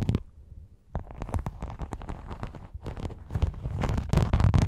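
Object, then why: Rhinestone mesh sheet scratched and tapped with fingernails. Long yellow nails scratch and tap across a thin, flat, flexible silver rhinestone and sequin mesh sheet draped over a foam microphone. After a brief burst and a short quiet pause, rapid, uneven taps and crackly scratches follow in a dense, bassy rustle that grows louder toward the end.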